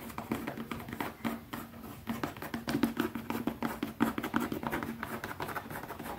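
Fingertips tap quickly on a leather pouch in a rapid, uneven stream of short, dry taps that die away almost at once. A faint steady tone sits low in the background beneath the soft, muted tapping.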